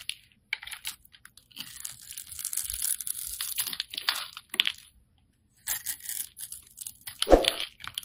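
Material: Soap.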